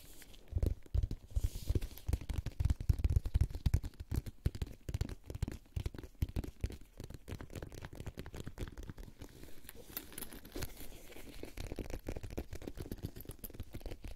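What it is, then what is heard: Faux-leather cosmetic pouch. A pink faux-leather boxy makeup pouch, closed and hollow, is gripped in both hands while fingertips and nails scratch and tap its synthetic-leather surface. Dense, rapid dull taps and rustling scratches make a low, thumping texture with very little brightness. The sound is loudest in the first few seconds, then settles into steady, softer scratching and tapping.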